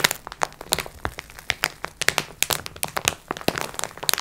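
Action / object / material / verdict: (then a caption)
scrape / plastic-wrapped pack of sponge cloths / plastic film / none. Long nails scratch across the clear plastic film of a soft, filled multipack of sponge cloths, using both hands. The result is a quick, uneven run of about twenty dry, bright crinkles and crackles, each stopping almost instantly with no low-end body.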